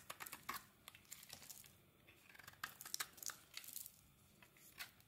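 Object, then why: Translucent glycerin soap bar shaved with a metal blade. A metal blade shaves flakes off the surface of a solid translucent glycerin soap bar held in the hand. The result is a quiet series of short, bright, crisp scraping and crackling strokes with almost no low end, each dying away instantly, with soft pauses between the bursts.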